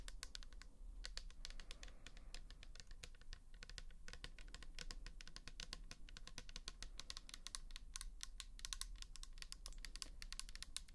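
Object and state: Plastic bottle tapped with fingernails.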